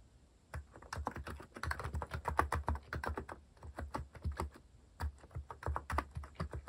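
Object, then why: Plastic mechanical keyboard. Fingertips type fast and continuously on a compact white-cased mechanical keyboard with plastic cat-themed keycaps. The clacks are quick, dry and deep-toned, and each dies away almost at once. A steady stream of keystrokes pauses briefly in the middle, then resumes.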